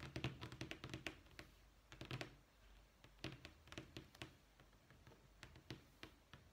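Fingernails and fingertips tap on a thin, solid white wood-grain vinyl flooring sample page in a sample book. Quick, dry taps come in rapid bursts with short pauses, each click bright on top with a soft low thump underneath and almost no ring.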